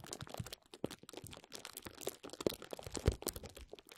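Clear plastic bubble wrap bunched over a microphone is squeezed and scratched with the fingertips and nails of both hands. The result is a steady run of close, dense crinkling and crunching, with quick pops and scratches scattered through it and a few sharper snaps near the end.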